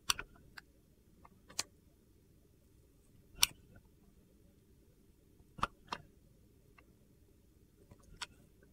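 A metal box-cutter blade shaves thin curls off a solid, hand-held clear glycerin soap egg with colored soap cubes inside. Sharp, bright, dry clicks and crisp scrapes come at irregular intervals and cut off almost instantly, with quiet low background between them.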